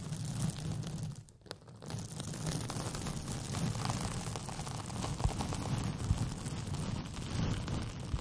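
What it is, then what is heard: Paper sheet rolled into a tube. A white paper sheet with pink polka dots, rolled into a hollow, empty tube over the microphone, is scratched and rubbed with long painted fingernails. The result is a steady, crinkly scratching with a strong low, boomy rumble from the tube, briefly quieting near the 1.5-second mark before the rubbing picks up again.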